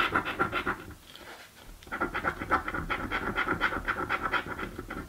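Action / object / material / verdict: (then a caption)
scrape / coated paper scratch card scraped with a coin / paper / none. A coin held between the fingers scratches the coated panels of a thin paper "Mystic Riches" lottery ticket lying on a dark table. The result is a fast, repeated, raspy scratching in quick strokes with a bright edge. A brief quieter pause around the one-second mark interrupts it before the strokes resume.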